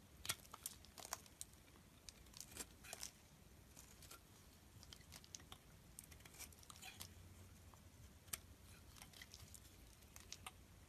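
A metal utility blade scrapes across a solid teal bar of soap, shaving curls from its surface. Quiet, dry, crisp scratching and crackling with sharp bright ticks comes in irregular bursts over a faint low rumble.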